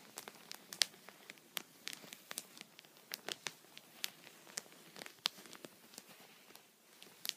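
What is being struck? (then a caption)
Thin plastic punched pocket on a towel, tapped with a pencil tip. A thin, flexible, clear plastic punched pocket lies flat on a soft towel and is tapped and poked with the tip of an upright wooden pencil while a hand rests on the sheet. It gives a scattered series of sharp, bright, crinkly ticks and crackles with almost no low end, each dying away instantly over a faint rustling background.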